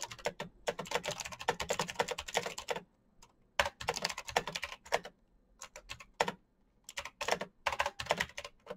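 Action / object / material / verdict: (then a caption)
tap / plastic mechanical keyboard / plastic / none. Fingertips type fast on a full-size black plastic Razer mechanical keyboard with clicky green switches and RGB backlight. Bursts of sharp, bright key clicks come in quick runs with short quiet pauses between them.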